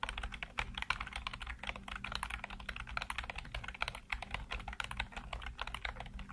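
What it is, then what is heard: Plastic computer keyboard being typed on. Fingertips type rapidly on a black plastic backlit computer keyboard, producing a dense, continuous stream of short, dry clicks and clacks with a bright, crisp edge. A steady low hum sits underneath the typing throughout.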